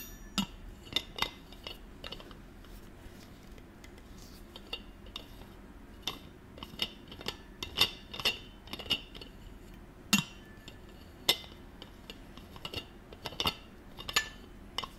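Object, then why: Stainless-steel water bottle with metal screw cap. One hand holds a gold stainless-steel water bottle while the other twists its metal screw cap on and off the threads. A quiet series of bright, short metallic clicks, ticks and thread scrapes is heard, each dying away almost instantly.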